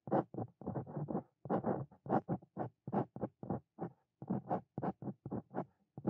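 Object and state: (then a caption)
Dip pen writing on a paper page. A steel dip pen nib scratches across a flat white paper notebook page while writing handwritten Korean lines. The result is a series of short, dry, papery strokes with silent gaps between them. Most of the energy sits in the low-mid range, with faint brighter scratch edges.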